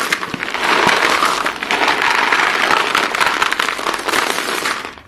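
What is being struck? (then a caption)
Pile of white chalk pieces. Hands scoop up many short, solid white chalk pieces from a pile and let them fall, then rake through the pile with their fingers. A dense, continuous crackling crunch of clicking chalk fills the clip, centered in the midrange with bright edges and little low end. It fades out at the end.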